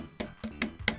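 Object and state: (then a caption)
Damped metal equipment cabinet. Four short knocks on the metal cabinet of a TEAC V-8000S cassette deck, which has an aluminum damping plate bonded to it. Each knock is a brief, dull thud around 210 Hz that dies away almost at once. The cabinet sounds damped and tougher than the resonant V-7000 cabinet, which lacks the plate.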